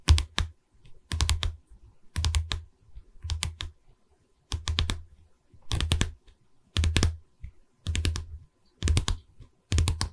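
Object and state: Wooden canvas stretcher frame.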